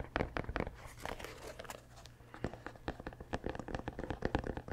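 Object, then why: Rubber sneaker sole. Fingertips scratch the grey rubber heel and sole of a running shoe held upright close to the mic. A rapid series of short, dry scratching and crinkling bursts rises and falls over a steady low hum, with most energy in the low and mid range and little high brightness.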